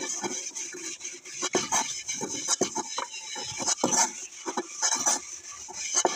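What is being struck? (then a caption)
Aluminium cooking pot. Hands scrub the inside and outside of a large, hollow, empty aluminium cooking pot with a cloth scrubber while it is held tilted on a stone-tiled floor, wet and soapy, with other pots sitting nearby untouched. Bright, scratchy scrubbing strokes come in quick bursts with faint hollow metallic tones and soapy swishes, and almost no low end.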